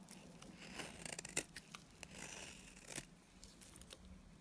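A solid pink oval Timotei bar of dry soap with red inclusions is held in the hand and shaved with a box cutter blade. Quiet, crisp scraping and cutting strokes come in quick, uneven bursts with bright, brittle crackles. A faint low hum sits underneath.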